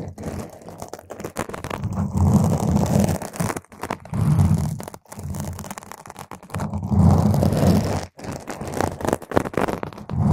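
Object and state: Foam microphone windscreen being scratched.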